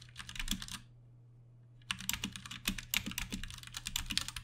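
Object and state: Plastic mechanical keyboard.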